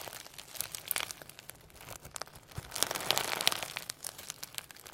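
Firm slime packed with holographic sequins and pearl beads is pulled apart and squeezed by hand as fingertips press through the sequin layer. The result is a dense stream of bright, crisp crinkling and crackling clicks that swells louder in the middle before easing off.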